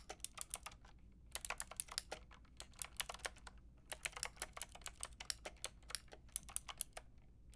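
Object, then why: Plastic mechanical keyboard with round keycaps. Long painted nails and fingertips type on a white and pink Lofree mechanical keyboard with round plastic keycaps. They make quick, bright, clicky taps in bursts separated by short pauses, each tap dying away almost instantly. A faint, steady low hum runs underneath.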